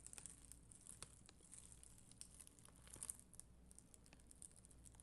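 A flat sheet of red and clear acrylic rhinestone gem stickers on white backing is brushed with a black mascara spoolie, held by a hand with long green nails. The result is a quiet, continuous scratchy crinkling with many soft, bright ticks over a low steady hum.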